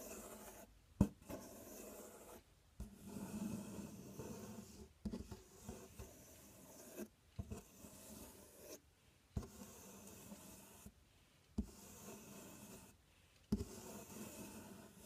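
Fingernails scratch and tap the front panel and raised inner flap of a large, empty, open corrugated cardboard box. Soft, dry rasping and rubbing runs in stretches separated by brief silences, with six sharper taps standing out above the quiet scratching. The sound sits mostly low to mid, with little bright content.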